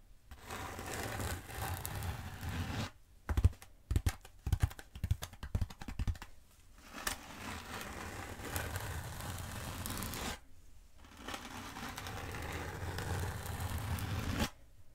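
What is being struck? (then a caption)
Foam roller. Long nails scratch and tap the textured surface of a long black foam roller held diagonally. Steady, rough scratching alternates with a burst of quick, sharp taps in the middle, then the scratching resumes in two long stretches separated by a short pause. The sound is dry and mostly low and muffled, with little ring after each tap.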